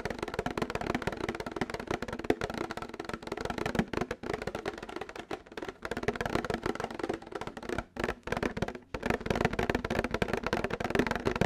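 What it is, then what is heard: Plastic milk jug. Fingernails tap rapidly and continuously on a plastic milk jug, making short, dry, hollow clicks with a mid-range tone that die away almost at once. The quick flurries break off for brief pauses now and then before the tapping resumes.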